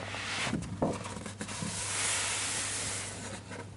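Fingertips slowly trace and rub across the illustrated paper page of a large open hardcover children's picture book lying on a desk. The result is a soft, bright, papery hiss that swells and fades, broken by a few brief scuffing bumps early on, over a steady low hum.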